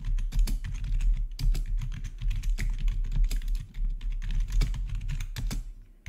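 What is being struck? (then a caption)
Plastic gaming keyboard. Fingertips type rapidly on a black plastic RGB backlit gaming keyboard with a hollow housing. The result is a dense, steady stream of quick clicks and clacks, each carried by a deep, hollow low thump and dying away almost at once.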